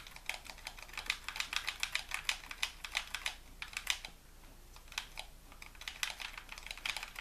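Fingertips tap and click the buttons and triggers of a white hollow plastic game controller. The result is a rapid, uneven run of short, bright plastic clicks centered near 3 kHz, with a brief lull in the middle before the clicking picks up again.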